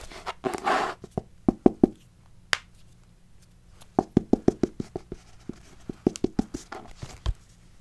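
Long nails scratch along the metal wire spiral binding of a pink paper notebook with a stiff paper cover, held up close. Bursts of short, dry, ratcheting clicks run in quick runs with pauses between them, after a brief rougher scrape at the start.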